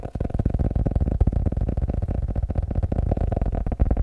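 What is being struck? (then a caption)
Paper notebook. A blue paper notebook is tapped rapidly and continuously, giving a dense stream of dull, low thuds with almost no ring and no speech.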